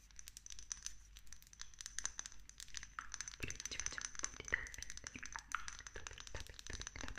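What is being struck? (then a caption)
Small glass dropper bottle with paper label. Long nails rapidly tap and scratch a small dark amber glass dropper bottle with a green paper label, held in hand. Dense, quick, bright clicks and clinks on the glass mix with crinkly scratching on the paper label, over a faint steady high-pitched whine.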